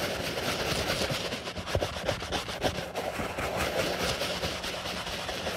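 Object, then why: Leather sneaker scrubbed with a bristle brush. A white leather Stan Smith sneaker, held hollow in a gloved hand, is scrubbed with a foamy wooden-handled bristle brush. A steady, broad rough rubbing hiss fills the clip, with a few louder brush strokes standing out around the middle.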